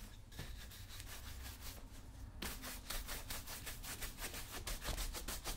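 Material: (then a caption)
Leather. A wooden-backed bristle brush is rubbed back and forth over the leather upper of a brown leather lace-up work boot, worn on a foot resting on a shoe-shine stand. Soft, breathy rasping strokes with a low rumble underneath become quicker and brighter about halfway through, settling into a steady swishing rhythm.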